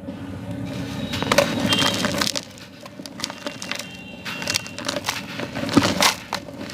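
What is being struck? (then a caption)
Molded block of gritty sand. Palm-sized, solid molded clumps of yellow gritty sand are broken apart and crushed between bare hands over a blue tub, crumbling and pouring onto a sand pile. A dense, bright, gritty crunching and crackling is heard, loudest through the first two seconds. It then drops to a quieter sandy trickle with renewed crumbling bursts toward the end.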